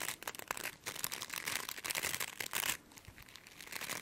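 Long nails scratch and flick the tips of the stiff plastic bristles on a brush with a frosted translucent plastic base. A dense, bright, crackly scratching comes in quick bursts of dry ticks and flicks that stop short with almost no ring. It eases to a softer rustle near the end.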